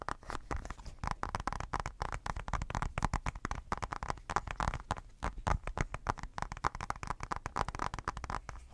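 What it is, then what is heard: Glass tablet screen. Fingertips tap and scratch the glass screen of a tablet in a blue silicone case, close to the mic. The result is a rapid, continuous patter of short, dull taps with a deep thumpy low end and a muffled midrange. There is little brightness, and scratchy crackles sit between the hits.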